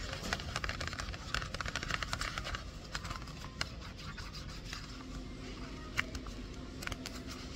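Long acrylic nails scratch and tap the flat sides of a small printed cardboard retail box, hollow and closed, held in both hands over a shopping cart and turned over. Dense, dry scratching with quick bright clicks comes first, then thins to sparser, sharper taps over a steady low background rumble.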